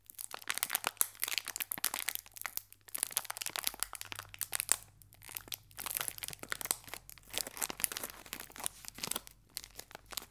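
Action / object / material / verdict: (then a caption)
scrape / metallized plastic foil biscuit wrapper / metallized plastic / none. A small green metallized plastic and foil biscuit wrapper with a biscuit inside is held in both hands and squeezed and crinkled by the fingertips, while a second pack lies still on the table. Dense, bright crackling and crinkling comes in rapid bursts with brief pauses, with a faint low hum underneath.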